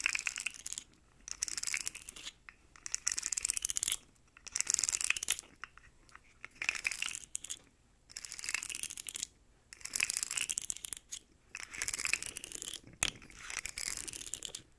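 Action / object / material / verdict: scrape / segmented plastic slug toy / plastic / none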